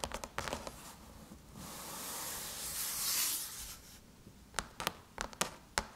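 Long chrome nail tips tap quickly on the closed, hollow silver aluminum MacBook lid, giving sharp, bright clicks. A soft, hissing scratch swells in the middle of the clip, then the quick, short taps return.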